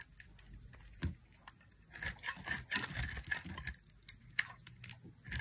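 A hand-sized, solid white bar of dry soap held in the fingers is repeatedly carved with a thin black blade. Sharp, crunchy cuts snap out one after another, with a denser burst of crisp scraping and crackling in the middle. Bright, dry crunches with almost no ring leave flakes falling away from the bar.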